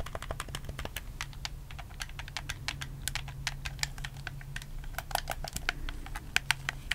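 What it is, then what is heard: Plastic game controller, buttons clicked. Fingertips rapidly click the buttons and thumbstick of a black, hollow plastic PS4 game controller held close up. The result is a dense run of sharp, bright plastic clicks, each cutting off instantly, over a steady low hum.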